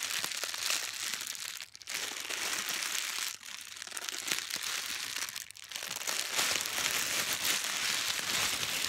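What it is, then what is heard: Tissue paper being crinkled. A wad of thin pink tissue paper is crinkled and squeezed by fingers with long pastel nails. The result is a continuous, bright, dense crackle, with brief dips near 1.8, 3.4 and 5.6 seconds where the squeezing pauses.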